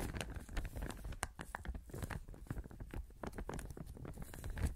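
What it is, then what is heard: Clear plastic bag. A thin clear plastic sheet or bag, held in both hands close to the microphone, is crumpled and rustled by the fingers. Dense, continuous crinkling is broken by sharp crackling snaps that spread from a low thump up to bright highs, with no pauses and no spoken words.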